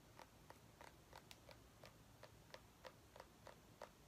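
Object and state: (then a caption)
Mini pumpkin tapped with nails. A small white ribbed mini pumpkin, a hollow gourd held in one hand, is tapped and scratched with long painted nails. Twelve quiet, crisp clicks land at an uneven pace, each a short hollow tick around 960 Hz with a bright edge that dies away almost at once.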